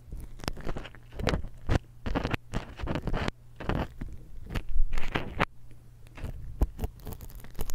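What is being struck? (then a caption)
Metal stereo microphone capsule. A steel dental pick scratches and scrapes across the capsule end of a small silver X/Y stereo microphone, held in the other hand. Dense bursts of crunchy, rasping scratches sweep from low to bright, with louder scrapes near the middle, over a steady low hum.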